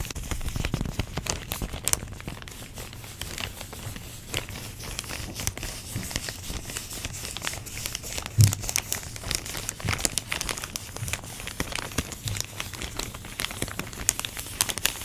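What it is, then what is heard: Plastic packaging bag. Long nails crinkle and tap on clear plastic packaging wrapped around orange foam pumpkin shapes. The sound is a dense, steady stream of bright, crackly plastic rustles and sharp little taps with almost no ring, over a low rumble. One louder tap stands out around the middle.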